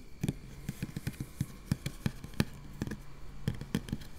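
Long nail tips on both hands scratch quickly over a round, hollow metal mesh microphone grille. It makes a rapid, irregular series of short, dry scratches and taps with a low, thumpy body, faint bright fizz, and almost no ring after each stroke.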